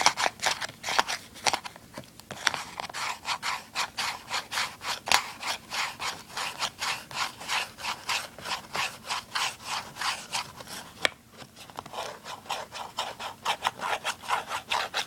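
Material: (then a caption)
Cardboard. Fingertips and nails rub and scratch along the printed surface and edges of a small, hollow, printed cardboard retail box for a Snark clip-on tuner, held in the hand over a wooden table. A steady run of quick, dry, bright scratching strokes repeats in an even rhythm, with a brief lull near the eleven-second mark, and each stroke stops at once without ringing.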